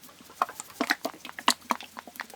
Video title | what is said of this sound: 71. Tinned Pasta Face-Off: Heinz Macaroni Cheese VS Chef Boyardee Mac & Cheese | sloshing around in there because it's almost a soup it's almost a cheese soup with macaroni